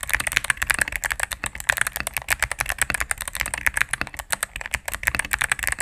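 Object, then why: Mechanical keyboard with plastic keycaps. A cream full-size mechanical keyboard with plastic keycaps on a solid plastic case is typed on rapidly with fingertips and medium-length nails. A steady stream of short, dry clacks has a bright plastic click centred around 1.7 kHz, with almost no low end and no ring after each press.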